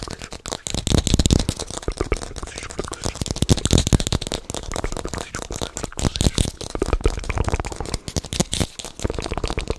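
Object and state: Apple.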